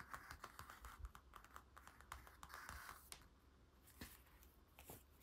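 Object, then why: Paper-covered hardcover picture book. Fingertips and nails of both hands tap and scratch across the glossy paper cover of a large, flat hardcover picture book with a dark blue night-scene cover, lying on a wooden table. A quick run of light, dry clicks mixes with soft scratchy swishes, each tap dying away almost at once.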